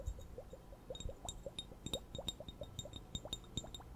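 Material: Glass.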